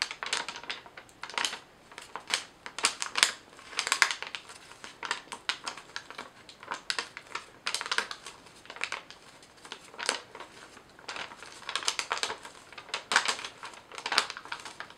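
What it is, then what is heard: Sheet of paper crinkled and scratched. A single sheet of yellow lined paper is held in both hands while fingers crinkle and bend it and long nails scratch across it. The result is a dry, papery stream of crackles and bursts of crinkling with quick bright scratches and no low end.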